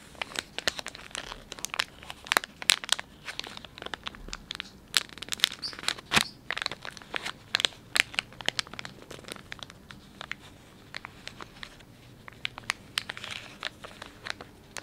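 Thumbs and fingertips crinkle and rub the soft plastic film of a filled, palm-sized Dettol wet wipes pouch. Dense, bright, crisp crackles and crinkles come in quick bursts with sharp snaps, with almost no low end. The crinkling runs continuously for the whole clip.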